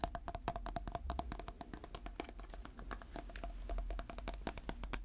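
Natural fingernails tap and scratch the lid and sides of a small, round, clear plastic container filled with purple slime, held in the hand. A quick, steady run of short, dry clicks with a faint hollow tone near 690 Hz, mixed with soft scratchy brushing under a low background rumble.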